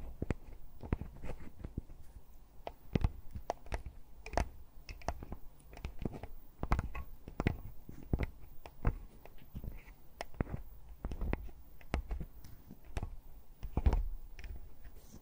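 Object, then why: Metal and plastic handheld audio recorder. Long plastic costume witch fingernails with red tips tap and scratch the metal-mesh X/Y microphone capsules and the plastic body of a Tascam handheld audio recorder. Dozens of quick, close, muffled taps land in an irregular rhythm over a soft scratching texture, heavy in low thud with almost no ring.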